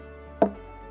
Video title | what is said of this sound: Jamaica Magazine 05 07 2020 | Why it gave you that sound? Because it's hollow inside. The more it grows old, the more it expands hollow.